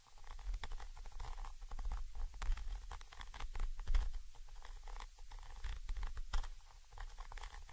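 A thin orange stick held in the fingers scratches and taps the side of a small chrome metal Zoom H5 XY microphone capsule with mesh grilles. The result is a dense, irregular run of close, boomy scrapes and quick taps, heavy in low rumble, with short bright clicks poking through and very little ring after each touch.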